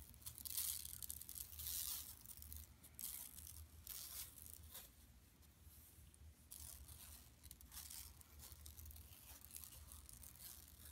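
Long nails scratch the surface of a large, flat, empty yellow woven plastic mesh tote bag lying on carpet. Irregular bursts of bright, crackly rasping rise and fade over a steady low rumble. The scratching is loudest in the first two seconds, then continues more softly in uneven strokes.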